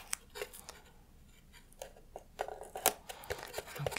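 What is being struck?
Small thin plywood craft doghouse.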